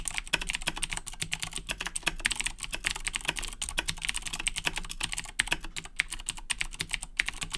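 Fingertips type continuously on the plastic keys of a black Razer BlackWidow 2010 Edition mechanical keyboard with Cherry MX Blue switches, resting on a wooden desk. A rapid, steady stream of sharp, bright clicks with very short decay and a faint low hum underneath.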